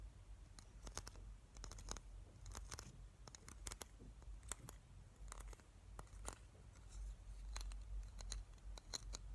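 Fingertips and nails scratch and tap along the teeth of a small, hollow black plastic claw hair clip held in the hands. The result is a quick series of dry, bright clicks and scratchy ticks that die away almost instantly, over a steady low rumble.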